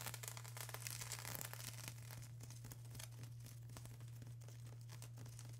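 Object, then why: Plastic bubble wrap sheet. Long acrylic nails scratch across a flat sheet of plastic bubble wrap, making quiet, bright, crinkly scratching strokes at a loose, uneven pace. A steady low hum runs underneath throughout, and the scratching grows slightly softer after the first couple of seconds.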